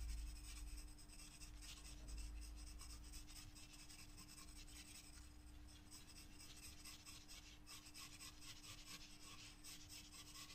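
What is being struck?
Graphite pencil on a paper sketchbook page.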